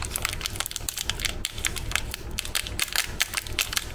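A full, sealed, small metallized-plastic Tiger Krunch Chocochips cookie packet is squeezed and pinched at its crimped end by fingertips and thumbnails as it begins to be torn open. Dense, bright crackling and crinkling runs throughout, with many sharp, quick snaps over a steady low hum.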